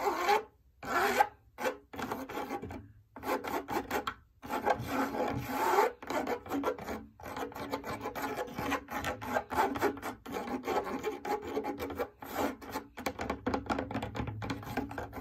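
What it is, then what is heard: Fabric drum lampshade. Long nails scratch quickly across a large, lit, hollow cylindrical fabric drum lampshade. The result is a dry, raspy scraping with a mid-range focus and little low end, coming in dense bursts separated by brief silent pauses. Each stroke stops dead with no ring.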